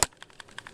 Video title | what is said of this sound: How to spot a fake ps3 controller (white) | you can actually hear buttons moving around you're not going to hear that with a Sony case